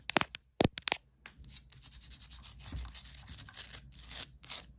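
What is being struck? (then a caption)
Salt crystal rock lamp. Long nails tap a medium, solid, rough orange Himalayan salt rock lamp, lit from inside, with a quick series of sharp, bright clicks on its uneven rocky surface. Then they scratch steadily across it in a continuous, hissy rasp.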